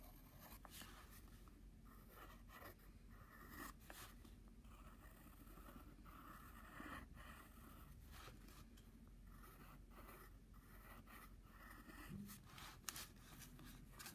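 A wooden pencil tip draws lines near a flower doodle on a flat brown padded paper envelope held down by one hand. Quiet, dry scratching strokes come in short bursts with bright papery hiss over a steady low rumble.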